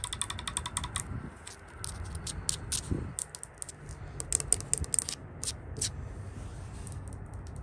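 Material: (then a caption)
Painted wood. Long nails tap and scratch along the white-painted solid wooden top rail of a porch handrail. The result is a run of quick, dry clicks with bright high-frequency edges over a low rumbling background, with brief scraping passes between the taps.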